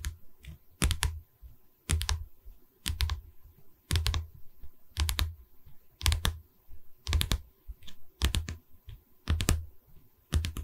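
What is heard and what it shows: Long red nails tap on the top edge of a pine canvas frame. Quick clusters of dry taps come about once a second, each with a low, woody thump and a bright click that dies away almost at once.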